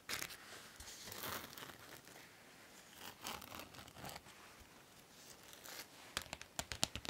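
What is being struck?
Masquerade mask with rhinestone band.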